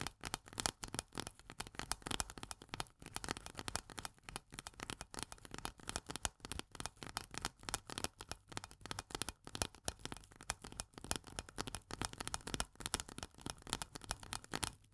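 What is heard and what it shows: Long nails tap fast on the metal pull-tab lid of a small, full steel corn can. The result is a steady stream of quick, bright, dry clicks with almost no ring, a faint tone near 750 Hz, and a light low hum underneath.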